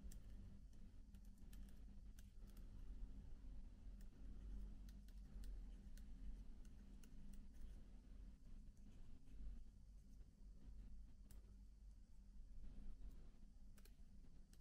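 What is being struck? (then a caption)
Plastic laptop keyboard keys. A fingertip clicks individual plastic keycaps one by one on a MacBook keyboard, making short, dry, bright clicks that die away almost at once. The clicks sit over a steady, quiet low hum that carries most of the sound.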